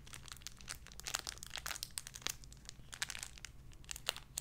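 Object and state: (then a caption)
Plastic bag with soft toy, crinkled. A small clear cellophane-like plastic bag holding a soft white-and-pink squishy animal toy is held in both hands and crinkled and squeezed with fingertips and long red-painted nails. Quiet, dense, bright crinkling comes in quick sharp crackles with no ring, over a faint low hum.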